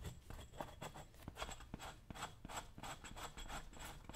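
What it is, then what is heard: Leather boot scraped with a chisel. A dull metal chisel is scraped repeatedly across the leather upper of a brown leather work boot worn on a foot, working near the eyelets and toe. It makes a quiet, steady series of short, dry rasping strokes, each with a bright scratchy hiss over a soft low rumble.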